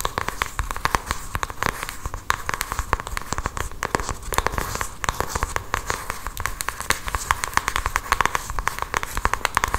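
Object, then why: Small cardboard box tapped and scratched with long fingernails. Long acrylic nails tap and scratch across the surface of a small, hand-sized printed cardboard cosmetics box with a Benefit butterfly design. Rapid, dense, crisp clicks and scratchy crackles run steadily throughout, each short and dry with a faint ring near 1 kHz.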